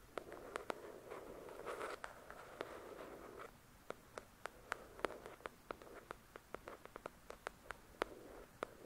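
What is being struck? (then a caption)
Paperback book with card cover. Long pointed acrylic nails scratch and tap the glossy card front cover of a thick, solid-paper paperback novel lying flat on a white cloth. A dry, rustling scratch fills the first few seconds, then gives way to a quiet, irregular run of sharp, clicky taps that stop instantly with no ring.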